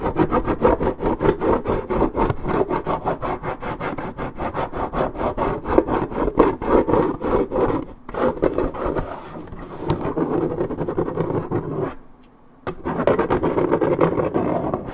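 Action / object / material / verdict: scrape / coated paperboard juice carton / paperboard / none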